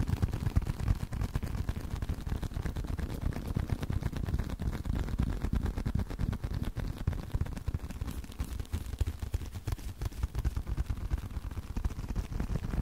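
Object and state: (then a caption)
Leather card wallet. Continuous tapping on a leather card wallet, producing a steady stream of soft, dull, low thuds with almost no ring and no high brightness. The taps come quickly and fairly irregularly throughout.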